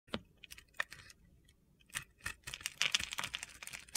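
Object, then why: Bar of soap with glitter coating. A small solid white bar of soap with a blue glitter coating is held in hand while a utility knife blade shaves and scores it. The result is a series of short, crisp, crunchy scrapes and cuts, sparse at first and then packed densely together, with bright gritty detail mostly in the high frequencies.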